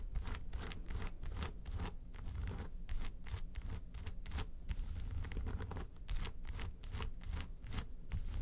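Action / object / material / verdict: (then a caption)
scrape / faux leather makeup case / faux leather / none. Long nails scratch and tap the embossed lid of a small, hollow, yellow textured faux-leather makeup suitcase. A dense run of quick rasping scratches with bright, hissy edges mixes with soft, low, hollow thuds from the taps. The sound stays fairly steady throughout, each stroke fading quickly.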